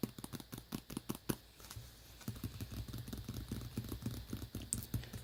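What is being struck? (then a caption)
Tablet cover case. Tapping on a tablet cover, a run of quick, dull, close-up taps with short decay and a low, muffled tone. The taps come in separate bursts at first, with a brief pause near the two-second mark, then continue as a denser, steady patter.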